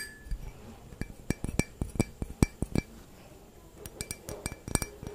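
A clear, hollow, empty stemmed wine glass is held in one hand and tapped with the long fingernails of the other. About nineteen quick, bright clinks come in uneven bursts, each dying away almost at once, over a soft low background.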